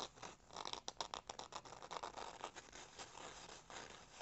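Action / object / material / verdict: scrape / corrugated cardboard piece / cardboard / none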